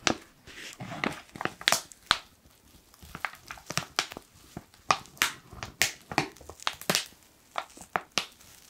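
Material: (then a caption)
Foil. A black foil coffee pouch is crumpled and squeezed with fingertips, giving a run of sharp, bright crinkles and crackles with quick decays and almost no low end. The bursts come in irregular clusters, some louder snaps standing out against softer rustling.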